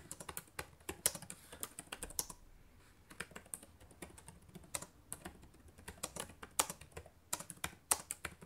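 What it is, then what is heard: Plastic laptop keyboard being typed on. Fingertips with long painted nails type on the plastic keys of a black laptop keyboard, making quick, bright clicks and taps. The keystrokes come in uneven bursts with a short pause near the middle, each click dying away almost instantly.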